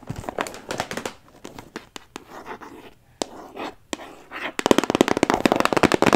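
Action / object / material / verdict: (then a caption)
tap / cardboard puzzle box / cardboard / none. A rectangular cardboard box for a 300-piece jigsaw puzzle, held up close to the mic, is tapped and scratched with long acrylic nails. Sharp, dry clicking taps come in irregular bursts between softer scratchy rustles, building to a rapid flurry of taps at the end.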